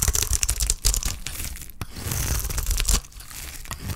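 A utility knife blade scrapes and shaves curls off a solid block of dry green soap held in the hand. A dense run of rough, bright scraping and crackling strokes with a low rumble underneath carries through the first three seconds, then eases into a softer, quieter shaving rasp.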